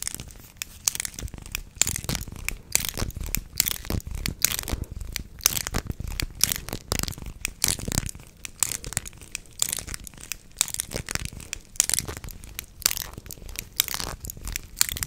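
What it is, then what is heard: Plastic corrugated tube. A beige, hollow, flexible corrugated plastic tube about arm length is held in both hands and bent and flexed along its ridges while the fingers squeeze and rub the ribs. It gives a steady stream of dry, bright, crinkly clicks and crackles with rapid irregular peaks. Each click stops instantly with no ring.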